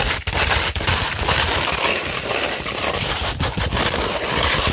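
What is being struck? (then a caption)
Sandpaper sheet scratched with fingernails. Long red nails scratch across a 240-grit sandpaper sheet held flat, producing a steady, dense, gritty rasp rich in bright high hiss. The scraping runs almost continuously, with only a few brief dips in level.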